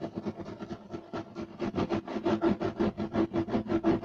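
Short nails of both hands scratch fast and aggressively across a flat, solid, beige striped woven loop-pile carpet. About three rough, scratchy strokes per second build in loudness, with a dull low-mid rasp and little high end. Each stroke stops quickly without ringing.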